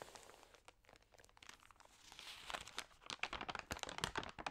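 Fingertips and long nails rub and flip the thin, crinkled pages of an open glossy paper magazine. Soft, bright crinkling and crackling starts quietly, then grows into denser, louder crunchy rustles with sharp paper snaps toward the end.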